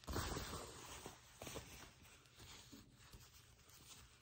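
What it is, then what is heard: Faux leather trousers scratched and rubbed. Fingertips and long nails rub, scratch and crinkle black faux leather trouser fabric held up close. A dense, soft rustling and scraping comes through, with a louder crinkly burst at the start and a few sharper scratches later, fading to quieter rubbing.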